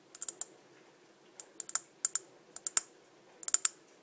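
A small, clear, empty glass cup with ribbed sides and a green-tinted base, held in one hand, is tapped with long dark-painted nails. Quick, bright clicks come in small, uneven bursts, each dying away almost at once with a high glassy tick and no low body.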